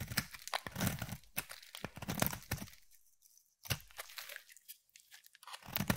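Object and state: Bar of soap being shaved.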